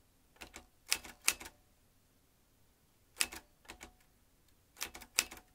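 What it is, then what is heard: Manual metal typewriter. Fingertips of both hands type on the round metal-rimmed keys of a vintage manual metal typewriter, swinging its metal typebars. Three short bursts of sharp, bright clacks, each dying away almost instantly, are separated by pauses in an otherwise quiet background.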